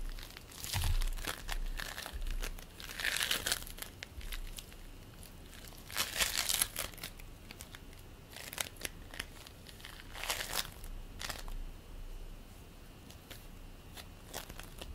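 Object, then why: Polystyrene bead play foam. Fingertips squish and pinch purple bead play foam made of polystyrene beads, producing soft, irregular bursts of bright crinkling and crackling. The quiet clicks come in uneven clusters with short, dry decays over a faint low background rumble.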